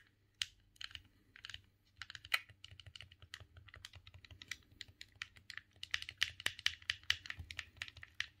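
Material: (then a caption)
Plastic. Thumbs rapidly press the face buttons and the stick of a silver hollow plastic GameCube controller. The result is a quiet, irregular stream of quick, dry, bright plastic clicks and taps with no ring, growing denser and slightly louder toward the end.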